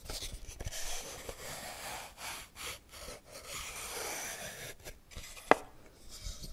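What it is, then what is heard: Wooden toy box scratched with nails. Long nails scratch and rub a small hollow wooden toy camera box, shaped like a camera with textured wood grain and a wooden lens and dials, close to the mic. Dry, bright rasping strokes swell and fade in bursts, and a single sharp tap-like click stands out near the end.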